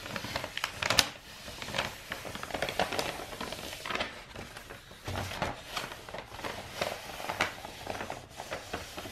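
A long roll of brown star-printed kraft wrapping paper, a hollow rolled tube held upright, is tapped with fingertips and long nails. The result is a steady run of dry, bright papery taps and crinkly scratches with almost no low end and no ring after each touch.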